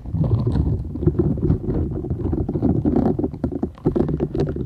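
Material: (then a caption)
Silicone. A flat, thin, solid purple silicone scrubber sponge with short bristles is held folded in both hands while long nails scratch and tap its bristled surface. Dense, low, rumbling scratches come in a steady stream of quick, dull taps with almost no high-end brightness.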